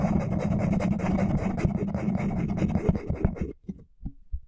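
A small solid wooden wide-tooth comb is held horizontally while fingertips and nails strum and scratch across its teeth. It makes a steady, dense scratching and plucking rattle with a low hum underneath. The sound stops abruptly after about three and a half seconds, leaving a few soft, scattered taps.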